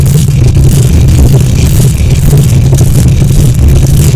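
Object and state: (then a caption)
Metal microphone grille being scratched. Long nails scratch quickly with both hands across the hollow metal mesh grille of a silver condenser microphone. The result is a loud, dense, continuous low rumbling and scraping texture with a boomy hum-like tone, plus only faint bright hiss on top.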